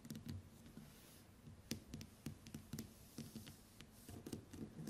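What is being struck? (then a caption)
Smartphone glass screen. Long white acrylic nails tap and scratch the glass screen of a smartphone lying flat on a table. A quiet, rapid series of short, dry clicks is heard, each with a soft low thump under a brief bright tick, and a faint scratchy rustle fills the gaps between them.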